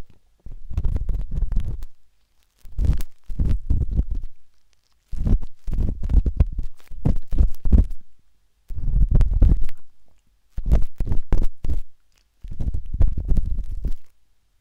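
The thin metal tip of a wooden-handled dot stick scratches inside the ear canal of a pale pink, soft, solid silicone ear on a binaural microphone. The result is dense, muffled, deep scraping and thumping in repeated bursts separated by short silences, with almost all the energy low and booming.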